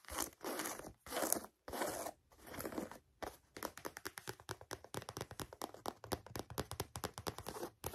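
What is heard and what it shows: Long nails scratch and tap a handheld, hollow and empty mustard canvas Converse sneaker with a rubber sole and white laces, moving over the canvas upper, laces and rubber sidewall. A few long, dry scratching strokes come first, then give way to a quick, uneven run of crisp, short tapping and scraping.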